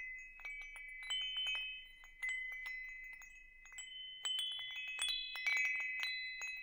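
A hanging wind chime with hollow metal tubes is held in one hand while the fingertips of the other hand tap the tubes, producing a quick series of light, bright metallic pings. Several sustained tones near 2.3 kHz ring and overlap into a shimmering chord that lingers between taps.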